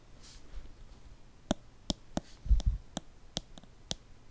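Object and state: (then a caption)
Plastic lotion bottle. Fingertips and nails slowly tap a small, hollow white plastic lotion squeeze bottle with a blue cap, held in both hands close to the mic. Nine sharp, short clicks ring out at a slow, uneven pace, with a duller low thump of handling near the middle, over a quiet hiss.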